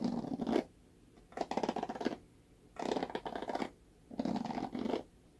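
Fingernails scratch across the black bristle cushion of a red plastic paddle hairbrush held by its handle. Four dense bursts of crackly, rasping scratching, each under a second, are separated by quiet pauses. The sound sits mostly in the low-mid range with a faint bright hiss on top.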